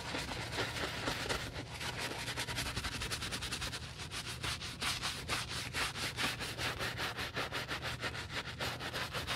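A black UGG men's leather boot's heel and side are scrubbed with a wooden bristle brush and soap foam. Rapid, rhythmic bright scratchy brushing strokes run steadily through the clip over a low constant hum.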